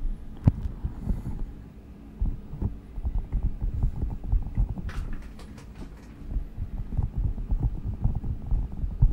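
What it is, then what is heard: Squishy gel-bead stress ball. A palm-sized translucent rubber squishy stress ball filled with green and blue gel beads is pressed and squeezed against the microphone with the fingertips. The result is a continuous run of deep, muffled, throbbing thumps and soft squelches, almost entirely low in pitch, with brief brighter crackles around the middle.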